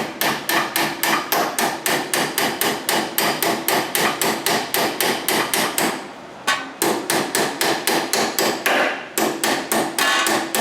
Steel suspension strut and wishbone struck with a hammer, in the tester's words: you're just going to tap it lightly. can hear that change, so you know you're in all the way